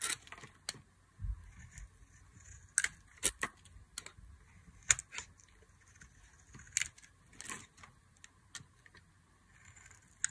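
A metal utility knife blade cuts and scrapes long strips off a solid oval translucent green glycerin soap bar held in the hand. A series of separate, crisp, bright scraping and slicing strokes is heard, each short and dry with almost no ring. The strokes are spread across quiet pauses, with a faint low rumble underneath.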